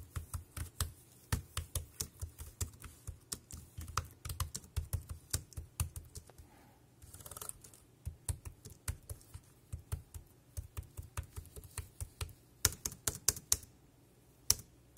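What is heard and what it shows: Fingertips type on a dark grey plastic wireless keyboard with round keys, producing a rapid series of short, sharp clicky taps with a dull low thump and a bright click on top. The typing pauses briefly for a soft rustling burst around the middle, then resumes and ends with a few sparse, louder taps.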